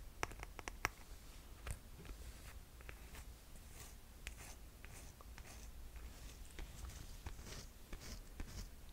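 Long nails tap and scratch the footbed and straps of a rose-gold cork and glitter strap sandal, then the shoe is turned over to show its underside. A few sharp, bright clicks stand out early, followed by soft, steady scratching and light taps over a quiet, low hum.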